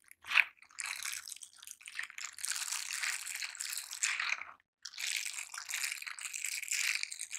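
Silicone scrubber gloves are worn on both hands as gloved fingers rub across the bristled palm, then the hands squeeze together. A short sharp crackle opens the clip, followed by dense, bright, scratchy rubbing and crunching with almost no low end. A brief silence breaks the sound before the bristly rubbing resumes until the end.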